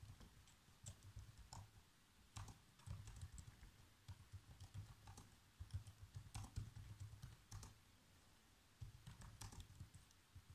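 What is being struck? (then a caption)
Plastic laptop keyboard. Fingertips press the black plastic keys of a laptop keyboard in irregular bursts of typing taps. Each tap is a short, soft click with a dull low thump and a faint bright tick, quickly fading, with brief pauses between flurries.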